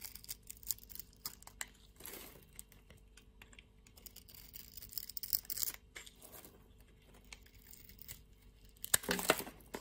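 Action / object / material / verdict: scrape / solid bar soap / soap / none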